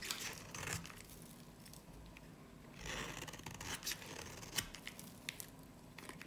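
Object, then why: Soap bar carved with a blade. A snap-off blade scrapes and carves a dry, varnished, solid yellow-green soap bar held in the hand. The blade makes dry, crackly scraping and tearing sounds with bright, crisp snaps, in louder bursts near the start, around the middle, and with a sharp crack shortly after.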